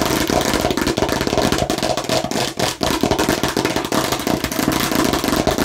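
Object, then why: Plastic toy watermelon slice. Rapid, aggressive tapping and scratching on a fake plastic watermelon slice produce a dense, continuous clatter of quick, dry, hollow clicks and scrapes. The sound is bright and mostly midrange, with a light plastic ring around 250 Hz and steady loudness throughout.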